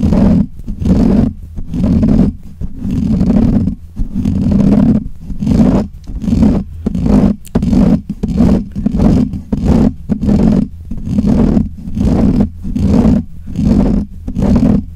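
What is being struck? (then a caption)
Metal mesh microphone grille. Fingernails of both hands scratch and rub the black hollow metal mesh grille of a desk microphone. Close, rough scraping comes in short, unevenly spaced bursts with brief gaps between them, heavy in low rumble with a strong band around 200 Hz. The scratching continues steadily for the whole clip.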